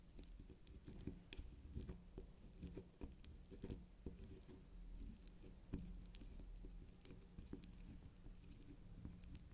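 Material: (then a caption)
Soap. Long pink acrylic nails scratch and tap the spiral top and sides of a small, solid, soft pink candy-shaped swirl soap bar. The result is a quiet, low, muffled patter of many soft taps with dull scratching and faint bright clicks.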